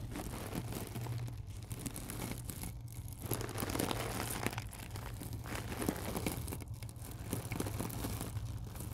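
Long acrylic nails scratch and press into a small, springy, round coiled stainless steel mesh scrubber lying on black cloth. The result is a continuous dense crinkling and crunching of wire over a steady low hum, with bright scratchy detail throughout.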